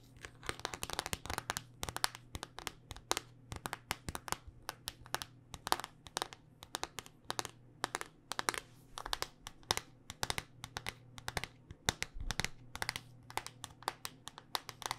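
Long, dark-painted nails tap rapidly on a handheld smartphone in a solid black rugged hard-plastic case. The taps are sharp, bright clicks in irregular bursts that stop almost instantly. A faint steady low hum sits underneath.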